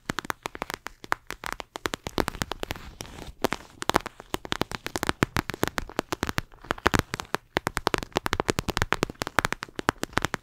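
A flexible clear plastic eye mask filled with gel beads is held in front of a microphone and scratched and squeezed with long acrylic nails. A rapid, dense stream of short, dry crackling taps and clicks runs throughout, with bright plasticky scratching and a soft squishy undertone between them.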